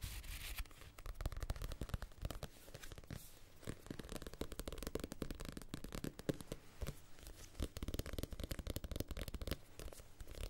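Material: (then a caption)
Paper. Fingertips tap and scratch the page edges of a small paperback copy of Casino Royale with a glossy card cover, then move to the front cover. The result is a quiet, continuous run of soft, dull taps and papery scratches, mostly low in tone with short, dry clicks and little ring.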